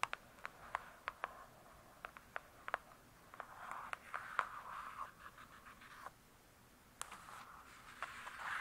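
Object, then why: Hardcover book with cardboard cover. Long acrylic nails tap and then sweep across the glossy paper-covered cardboard cover of a thick, solid hardcover book lying flat. Sharp, dry clicks come first, followed by soft, hissy scratching strokes centered around 1 to 1.5 kHz, broken by brief quiet gaps and a few more taps.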